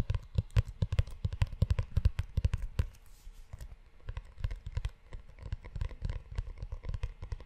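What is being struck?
Leather-bound notebook cover.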